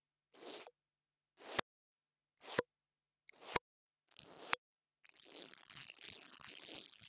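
The top of a small, solid black plastic lavalier microphone capsule, held in the fingers, is scratched and brushed with a small pink dental brush held in the other hand with long nails. Five separate bright, crunchy scratching strokes each swell and end in a sharp click. They are followed by about two seconds of continuous rapid, rustling brushing.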